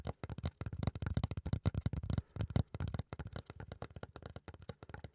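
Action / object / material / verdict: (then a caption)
scrape / fiberboard panel / fiberboard / none. Fingertips and nails scratch and rub a flat, solid brown fiberboard or thick cardboard panel held upright. The result is a fast, uneven run of short, dry scratching bursts. They sound dull and low, with almost no brightness and no ring after each stroke.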